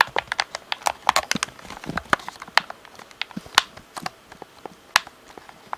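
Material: Plastic.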